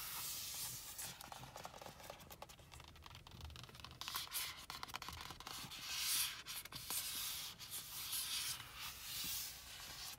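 Long acrylic nails and fingertips rub and scratch along a holographic, iridescent vinyl synthetic-leather cover on a car steering wheel rim. The result is a bright, hissy scraping with irregular quick strokes, mostly high in pitch with little low end.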